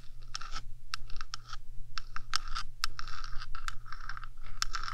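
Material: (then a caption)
Metal. Long acrylic nails scratch across the top of a rectangular, hollow metal 3Dio microphone housing in quick, uneven strokes. Each short, bright scratch centers around 1 kHz with a high hiss above, over a steady low hum throughout.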